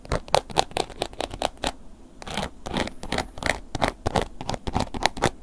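A black woven-embossed leather long wallet is held upright while a wooden ear pick scratches along its top edge and face. Quick, dry scratching strokes follow one another in bursts, with a brief quieter pause near the middle before slower, longer scrapes resume.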